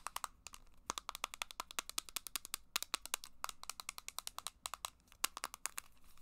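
A small, hollow, copper-pink plastic handheld game device, possibly a Game Boy Advance SP, is held in the hands and tapped with long black acrylic nails throughout. It gives a rapid, uneven series of short, bright clicks and taps with almost no ring, each dying away almost instantly.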